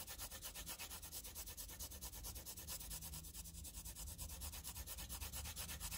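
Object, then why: Graphite pencil on paper sheet. A wooden pencil tip rubs and scratches dense graphite scribbles onto a flat sheet of squared graph paper. Quick back-and-forth strokes make a steady, bright, papery scratching rhythm over a low rumble underneath.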